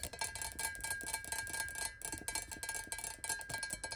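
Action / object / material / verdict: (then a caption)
tap / glass water bottle / glass / none. Long nails tap rapidly on both sides of a clear, square glass water bottle standing upright. About twenty quick, bright clicking taps run together over a steady glassy ring near 2.3 kHz that lingers under the tapping.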